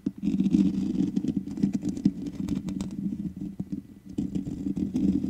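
Long nails scratch the hollow metal mesh head of a black microphone, giving a dense, continuous rasping scratch with fine clicks over a steady low hum. At the end, the fingers grip the grille.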